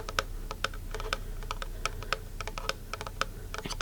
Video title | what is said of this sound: [ASMR] Fingertip Tapping to Find The Best-Sounding Item | if I tap on the side it gives me a higher toone